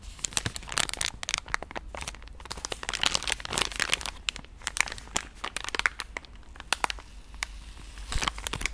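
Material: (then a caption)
Soft plastic. A pink soft plastic wet-wipe pouch is squeezed and scratched with fingertips and nails. It gives a continuous run of bright, crisp crinkling and sharp crackles. A faint low rumble sits underneath.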